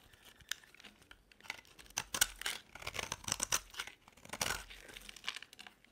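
A metal utility blade scrapes curls off a solid yellow and blue bar of dry soap held in the hand. The result is a series of dry, crisp scraping and crackling strokes, bright and papery, with quiet gaps between the louder cuts.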